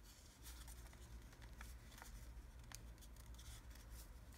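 A partly folded sheet of thin red origami paper is held in both hands while fingertips crease, fold and rub its layers. Soft, crisp rustles and brief bright crackles come through over a steady low hum. The sound is quiet and continuous throughout.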